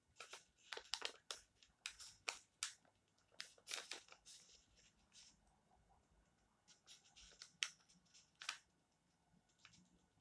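Fingertips of both hands rub and press the page edges of an open glossy paper magazine spread on top of a stack, crinkling the thin paper. Short, bright crackling bursts come in quick clusters with near-silent gaps between them, each dying away almost instantly and carrying no low rumble.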